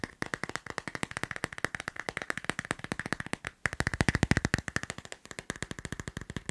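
A smartphone in a clear, transparent plastic case with a line-drawing design is held in the hand and tapped quickly by fingertips and nails on its back and edges. About 59 sharp, dry clicking taps come in a fast, steady run, with a brief pause just before the 4-second mark. Each tap dies away almost instantly.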